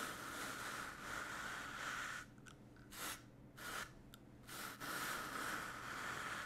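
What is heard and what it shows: A small green-and-white brush is rubbed and brushed across a large, soft piece of black woven fabric with a white grid pattern, laid flat on a table and held still by one hand. Steady, breathy scratching strokes carry a bright hiss with a faint whistling tone near 1.5 kHz. The strokes drop to near-quiet gaps in the middle, broken by short brushes, before continuing.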